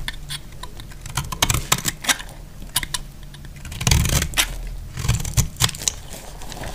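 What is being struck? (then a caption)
Bar of soap cut with a metal blade. A metal utility blade cuts a solid, dry off-white soap bar into shavings. The result is a quick, irregular series of crisp, bright snaps and scraping clicks, each short and dry with almost no ring, over a soft low thud. Two denser bursts of cutting come near the start and again around the middle.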